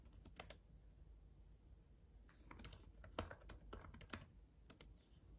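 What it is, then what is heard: Plastic laptop keyboard being typed on. Both hands tap steadily with their fingertips on the solid, red-backlit plastic keys of a black gaming laptop keyboard. The result is a quiet run of short, crisp clicks with bright tops that die away almost instantly. A low, steady hum sits underneath.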